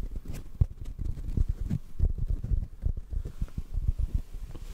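Fingertips tap quickly on a black foam microphone windscreen, producing a rapid, uneven patter of soft, muffled thumps. The sound is deep and dull, with almost no brightness, and each tap dies away instantly without ringing.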